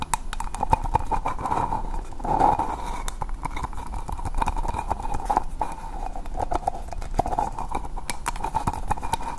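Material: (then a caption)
Plastic. A small green hollow plastic ball made of two halves is held close to the microphone and tapped and scratched with long painted nails. Quick, dry clicking taps mix with a steady scratching rustle, and a hollow ring sits around 890 Hz throughout.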